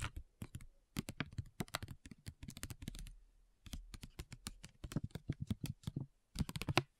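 A flat foil and paper facial sheet mask sachet lying on a table is tapped and scratched with long nails and fingertips. The result is a quick, irregular run of short, dry clicking taps with a faint crinkly edge. There is a brief lull in the middle before the tapping resumes.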